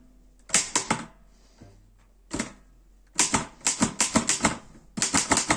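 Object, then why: Metal portable typewriter. Fingertips type on the keys of a black metal Erika 5 portable typewriter. About 16 sharp, bright clacks sound in bursts with short pauses, each dying away almost instantly, and a faint low thump falls in one of the gaps.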